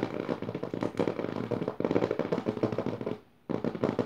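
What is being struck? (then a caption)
Paper pages of an open notebook. Long nails tap and scratch fast on the lower left page of an open notebook with dotted paper pages. The result is a dense, rapid run of dry crackling taps and scratchy rustles, with a brief silent pause just past three seconds before the tapping resumes.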